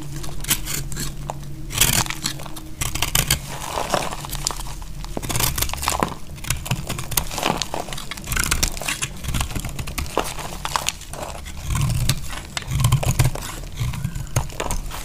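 A utility knife shaves and cuts a remaining slab of dry, solid purple bar soap held in the hand. Dense, rapid strokes give bright, crumbly scraping and crackling with brief crunchy snaps over a steady low hum.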